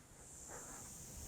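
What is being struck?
Nothing is struck.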